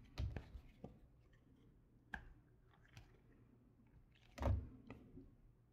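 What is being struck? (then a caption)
Soap bar cut with a knife. A solid light blue bar of soap, held in the hand, is carved with a red patterned knife. There are several short, dull scraping and cutting strokes with soft, low thuds and quiet pauses between them. The loudest cut comes near the end.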